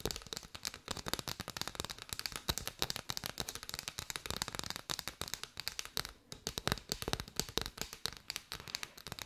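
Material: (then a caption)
Paper. Long white nails tap and scratch on a bundle of hollow striped paper straws, seen end-on and then from above. The result is a fast, steady stream of dry, crisp clicks and scratchy rustles that are bright and papery, with almost no ring after each tap. It is heard at a quiet level.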